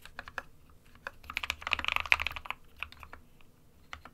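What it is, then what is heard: Plastic mechanical keyboard. Fingertips of both hands type on the keys of an SK61 compact 60% plastic mechanical keyboard with white and grey keycaps. Sparse, bright, clicky keystrokes build into a dense flurry of typing in the middle, then thin out again. Each click is sharp and dies away almost instantly, centered around 2.5 kHz with very little low end.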